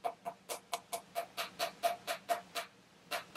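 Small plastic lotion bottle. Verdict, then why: Full. A refilled Bath & Body Works travel-size plastic lotion bottle is tapped 14 times at an uneven pace. Each tap is short and dull, with a faint mid tone and almost no ring. The solid sound shows the bottle is full.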